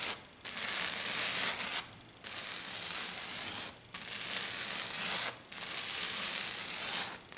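Both hands with black nails scratch and tap fast and hard on a flat silver glitter-covered sheet. The result is a bright, hissing, gritty scrape that comes in four long bursts, split by short quiet gaps.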